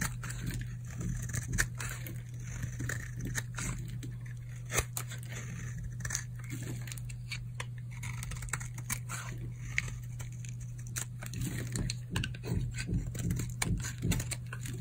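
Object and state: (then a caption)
Dry soap bar being shaved. A metal blade shaves curls off the surface of a solid teal bar of hard, old, dried soap held in the hand. It makes a repeated dry scraping and crunchy cutting sound, with sharp crisp clicks over a steady low hum.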